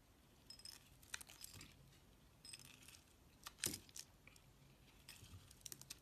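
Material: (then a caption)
Soap. A metal utility knife blade scrapes and shaves the surface of a solid rectangular brown laundry soap bar with embossed lettering, held in a hand with long pale nails and surrounded by shaved soap curls. Quiet, bright, crisp scraping and crackling strokes come in short clusters, with one sharper, louder cut near the middle. Each stroke fades quickly.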